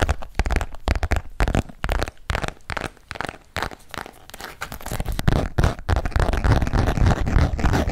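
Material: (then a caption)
Coated canvas. A small green and grey patterned coated canvas wallet, held in both hands, is tapped with fingertips and nails. The result is a quick, irregular stream of soft, dull taps with a crinkly, scratchy edge, mostly low in tone, growing denser and more continuous toward the end.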